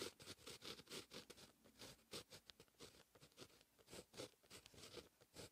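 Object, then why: Fine-tip pen on a paper notebook page. A fine-tip pen held in the fingers writes Korean text on a lined white paper notebook page. Short, bright scratching strokes come in quick bursts with brief pauses between them, with little low end.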